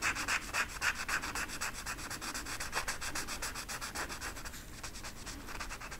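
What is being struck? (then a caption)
Flocked velvet poster and felt-tip marker. A felt-tip marker held in the fingertips is rubbed back and forth over the pile of a flat black flocked-velvet coloring sheet with a peacock design, lying on a table. It makes a steady, scratchy, bright rubbing sound in quick, fairly even strokes of about four per second, with energy strongest around 1.4 kHz and in the high range.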